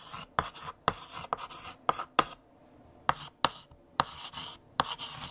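A hand writes on a large flat black chalkboard with a mint green chalk stick. Sharp chalk taps and scratchy strokes come in quick bursts, with nine distinct taps separated by brief quiet pauses.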